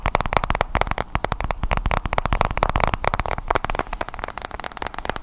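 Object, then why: Tablet with glass screen and metal back. Fingertips and nails tap rapidly on a white-bezel iPad tablet with a glass screen and metal back, held behind the microphone. The result is a dense, continuous stream of short, dry clicks and taps with a midrange body and a heavy low-end thump.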